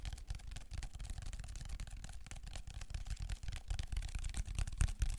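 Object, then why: Ridged plastic foam roller. Fingertips and nails scratch along the ridges of a large black ridged plastic textured foam roller, held upright and then horizontally close to the mic. Continuous, irregular rasping and crackling, with a heavy low rumble underneath and bright ticks on top. It grows louder toward the end.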